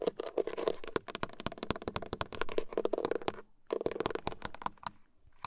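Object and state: Plastic steering wheel airbag cover.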